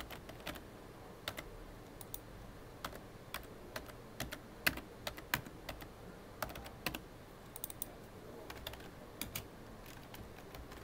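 Both hands tap rapidly with their fingertips on a full-size black plastic computer keyboard, with hollow key housings, resting on a desk. The result is a quiet, irregular stream of short, sharp, bright clicks that die away almost instantly, heard over a faint low background hiss.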